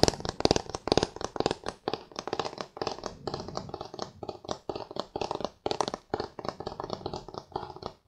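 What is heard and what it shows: Fingertips and nails tap and scratch the flat back of a thin aluminum iPad tablet held in both hands. The result is a steady run of quick, dry clicks and raspy scrapes with a faint metallic tone, each sound dying away almost instantly. The hits carry bright upper edges over a light low end.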